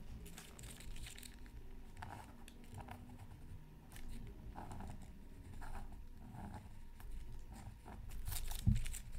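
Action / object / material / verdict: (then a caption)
scrape / coated scratch art paper sheet / coated paper / none. A pointed wooden stylus scratches a thin, black-coated scratch art card from a Mythical Creatures Super Scratch Art Pad lying flat on a mat. Quiet, dry scratching and crinkly strokes repeat throughout, with brief bright streaks over a low rumble. A sharper, louder scrape comes near the end.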